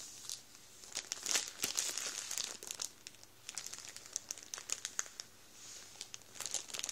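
An open hand presses and rubs the plastic of a full Warburtons bread roll bag with its fingertips, crinkling it. The quiet, bright crinkle comes in dense bursts of sharp, short crackles with almost no low end, easing between pushes before flaring again.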